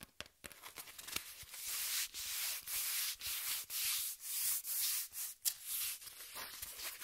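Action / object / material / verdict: scrape / corrugated cardboard sheet / cardboard / none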